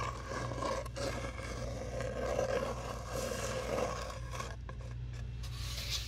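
A long, hollow brown cardboard tube is rubbed and scratched with long nails, giving a continuous papery scraping and rasping with a hollow tone around 520 Hz. A steady low hum sits underneath throughout.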